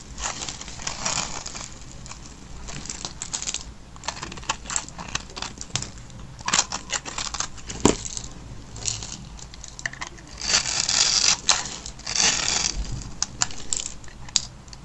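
A blade scrapes across the scored surface of a hand-sized, solid black-and-white striped bar of dry soap held in the hand, brushing off crunchy soap cubes. The result is a stream of bright, dry crunching and crackling scrapes that swell into louder, denser bursts, with short clicks and little low-end body.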